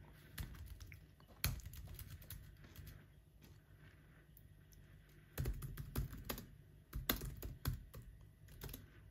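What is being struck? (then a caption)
Laptop keyboard with plastic keys. Fingertips of both hands press and tap the black plastic chiclet keys of a silver aluminum MacBook laptop keyboard while typing. Quick, short clicks come in bursts with quieter stretches between, over a low steady hum, each tap fading almost at once.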